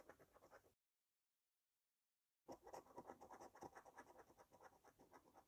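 A coin edge held in the fingertips scrapes the latex scratch-off coating from a thin cardboard paper scratch card lying flat on a table. Quick, rough scratching strokes with a papery rasp are heard, pausing in silence for under two seconds before resuming louder and steadier to the end.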